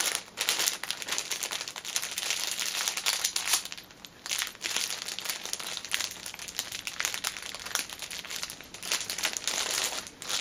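Fingertips with teal nails press, scratch and crinkle the clear cellophane sealing a flat orange Nails Inc fabric pouch lying on a cushion. The result is a dense, bright, continuous crinkling and crackling of plastic wrap, with almost no low end and brief quieter dips around the four-second mark and near the end.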